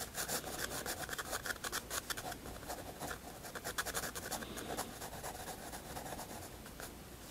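A graphite pencil draws strokes on a white paper sketchbook page, scratching the paper surface. A quick run of short, dry, bright scratching strokes gives way to steadier, softer rubbing toward the end.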